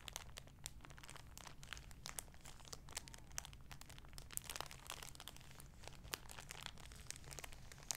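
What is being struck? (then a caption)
Folded fabric shower curtain in thin clear plastic packaging. An olive-green folded shower curtain in clear plastic packaging, back side up, is held in both hands and crinkled with the fingertips and nails. Dense, bright crinkling and sharp ticks of the plastic run throughout at a quiet level, over a steady low hum.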